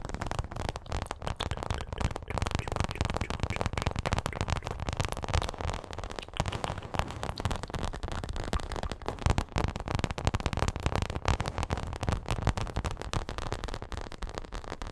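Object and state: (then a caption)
Paperboard milk carton. A small, hollow printed paperboard milk carton is held close to the mic and tapped and scratched with long acrylic nails. The result is a dense, continuous stream of quick, dry crackling taps and scratches with a heavy low-end thump, likely with echo effects on the audio.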